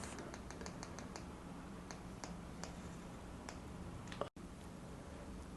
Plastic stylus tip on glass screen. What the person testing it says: the tapping sound sounds solid enough